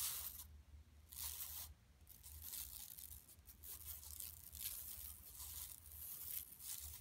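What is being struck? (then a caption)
Woven plastic mesh shopping bag. Long nails scratch with both hands across a flat, empty yellow woven plastic mesh shopping tote lying on carpet. Bright, raspy scratching comes in uneven bursts with short pauses, over a faint low hum.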